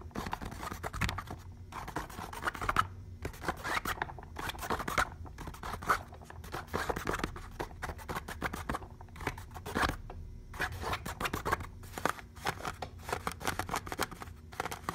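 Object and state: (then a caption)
Pleated fabric lampshade. Long painted fingernails scratch along the pleats of a hollow, cone-shaped pleated fabric lampshade. Dense bursts of dry, rapid scratching come in clusters separated by short pauses, with a papery rasp centered in the midrange over a faint low hum. Each stroke stops dead, leaving no ring.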